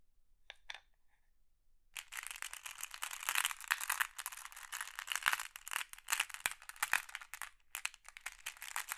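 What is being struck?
Pile of small flat glass pebbles in a wooden tray.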